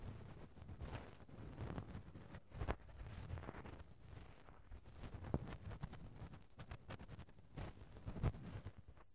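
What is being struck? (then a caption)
Metal mesh microphone grille rubbed with a cotton swab. A cotton swab softly rubs and pokes the small round metal mesh grille over the hollow left-hand capsule of a Tascam handheld recorder. The result is the microphone's own contact noise: a low, muffled, continuous scratching and rustling, broken by a few slightly louder soft thumps.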